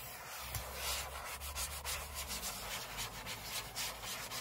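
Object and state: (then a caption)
Aluminium laptop lid scratched with fingernails. Short fingernails on both hands scratch the aluminium lid of a closed space-grey MacBook lying flat on a table, recorded close up. The result is a steady, bright, papery rasping made of quick, uneven strokes that swell and fade, over a faint low hum.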